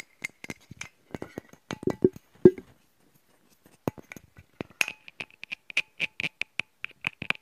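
A hand-sized metal aerosol spray can with a Colorama label and black back, closed and partly full, is held close and handled with fingertips and nails. Quick, irregular taps and clicks ring briefly. The shaken can gives a rattle, with a pause after the first half before bright, tinny tapping resumes.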